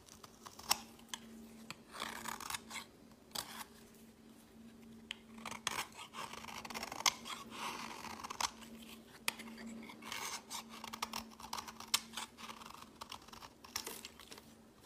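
A metal blade scrapes shavings off the edge of a green solid bar of soap held in the hand. Repeated short, crisp scraping and shaving strokes come through bright and dry, with some longer rasping passes, over a faint steady low hum.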